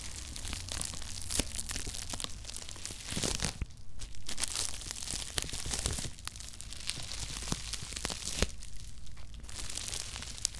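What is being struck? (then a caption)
Cardboard shoebox wrapped in plastic bubble wrap. A cardboard Nike shoebox wrapped in plastic bubble wrap is scratched and tapped on top with fingertips and nails. Dense crinkling, scratching and sharp little clicks run throughout, over a steady low hum.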